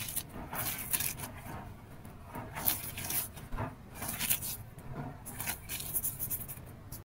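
Both bare hands scoop, squeeze and crush a pile of loose blue-grey Holi powder mixed with gym chalk and sand on a light surface, rubbing it through the fingers. The result is a quiet, granular crunching and rasping with bright, hissy bursts over a soft low rumble, not hollow.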